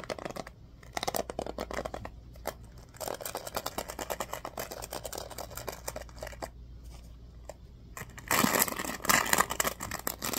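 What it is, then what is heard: Plastic hairbrush bristles being flicked. Fingers scratch and flick the bristles of a black plastic oval hairbrush with a blue accent on the handle. Rapid, dry, bright clicks and crackles come in bursts with quieter stretches between. Near the end the sound turns into a louder, denser brushing rasp.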